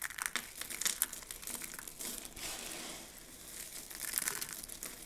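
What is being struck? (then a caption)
Pile of soap flakes. Hands gather, scoop and squeeze a pile of dry, mixed soap flakes. The result is a continuous, bright crinkling crunch made of many short, crisp crackles, with a few sharper snaps and almost no low end.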